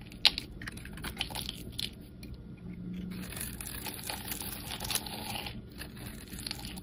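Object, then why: Soap bar shaved with a metal blade. A metal utility blade shaves a solid pink and white striped bar of soap held in the hand, peeling off curls. Soft, crisp scraping and crunching rasps run throughout, bright and dry, with a few sharper ticks standing out above the steady shaving.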